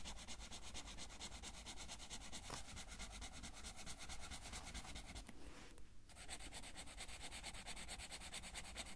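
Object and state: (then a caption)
Felt-tip marker coloring on paper. A blue felt-tip marker rubs steadily back and forth over a thin paper coloring page lying flat on a table, filling in a large area. The result is a continuous, rhythmic scratchy hiss with a bright, airy top and a soft low rumble underneath. The bright part briefly thins out just before the six-second mark before the strokes resume.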